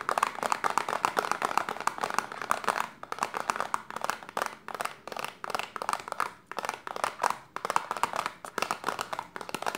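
Long silver-painted nails rapidly tap and scratch a small pale green printed cardboard Detox serum box held upright in a hand, likely with the bottle still inside. The result is a dense run of short, dry, papery clicks and scrapes centered in the midrange, with quick dips around 3 and 6.5 seconds.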